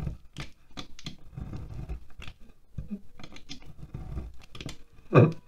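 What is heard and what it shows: A utility knife scrapes wax shavings off the side of a solid green wax pillar candle resting on a glass plate. The scraping comes as a quick series of short, dry strokes, mostly low with brief bright edges. The clip ends with one louder, fuller scrape.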